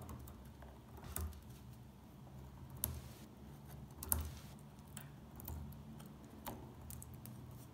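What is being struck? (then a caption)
Bar of household soap scraped with a metal pick. A small metal pick chips and scratches flakes off the surface of a dry, solid beige soap bar resting on a table. Quiet, crisp scrapes and short, dry ticks arrive at irregular intervals, each dying away almost at once. A steady low hum sits underneath throughout.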